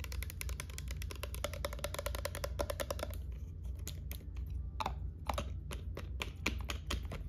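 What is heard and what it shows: Long nail tips tap quickly across the side of a hollow white plastic lotion bottle with a pump, held sideways, in a rapid typing-like patter. The crisp, bright clicks decay fast over a steady low hum, and a faint hollow tone rings under the taps for the first three seconds.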